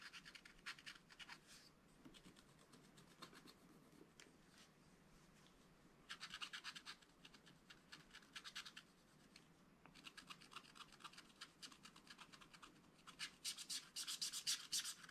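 A wooden stylus scratches fine lines into the black wax coating of a small spiral-bound scratch-art paper pad. Quick, bright, dry scratching strokes come in rapid bursts, with quieter stretches between them. The densest, loudest scratching comes near the end.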